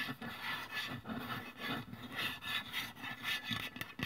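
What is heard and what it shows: Long press-on nails scratch and tap along the printed side of a white-and-blue Nivea aluminium deodorant spray can, its hollow metal body lying on its side on a wooden table. A steady, bright, raspy scratching rises and falls in uneven swells about twice a second, with light, quick-fading taps and a faint low hollow undertone.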